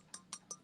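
A thick porcelain piece is flicked four times, giving short, bright clinks with a high ringing tone that dies away almost at once. It sounds solid and uncracked: the mark underneath is a glaze-filled manufacturing flaw, not a crack, since a cracked piece would sound different when thumped.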